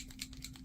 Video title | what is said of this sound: August 2022 VOLUME - Flipping for Fall - Art Anthology - Posca Pens and More | you shake it until you hear a little ball going around inside kind of like a spray can